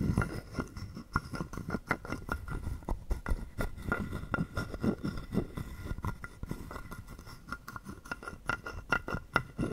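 A wooden stick is scraped along the ridged back of a hollow carved wooden frog guiro held in the palm. It makes a steady run of quick, dry clicking rasps with a faint woody tone near 1.4 kHz. Each click is short and dies away almost at once, over a low, soft body.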